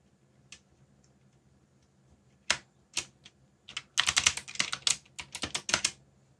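Fingertips type quickly on a backlit mechanical keyboard with plastic keycaps, producing bright, sharp clicks with almost no low end. A lone keystroke is followed by a pause, then a few spaced strokes, and finally a fast, dense run of clacking keys.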